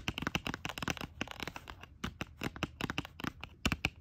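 Long acrylic nails tap rapidly on a small pink gem-shaped plastic lip gloss sealed in a clear plastic blister on a cardboard card. The result is a quick series of sharp, dry clicks with a crisp, crinkly plastic texture and very short decay.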